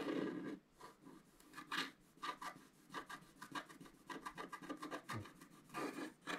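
A wooden stylus held in the fingers scratches away the black coating of a thin, solid scratch-art card page from a scratch book, lying flat on a table while the other hand holds it. The result is a series of short, dry, rasping strokes with bright, airy scrapes and a soft low body around 324 Hz, separated by brief quiet gaps.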